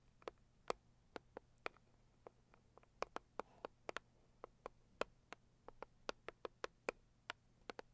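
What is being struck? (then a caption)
Cardboard box. A cardboard product box is tapped and scratched with long nails, giving a steady run of short, dry, sharp ticks that die out almost instantly. Each tap is crisp and bright with a body around the mid range, set against a faint low hum and soft scratching between the hits.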